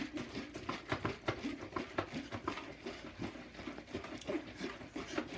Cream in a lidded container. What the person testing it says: when you shake it, you want to thump the cream on the top and thump it back down on the bottom